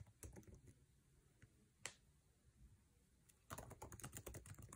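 Fingertips tap fast on the plastic keycaps of a MacBook Air keyboard set in an aluminum chassis while typing. Quick, dry clicky key taps come in a burst, thin out to a few scattered presses with one sharper bright strike near the middle, then resume as a dense, rapid flurry at the end.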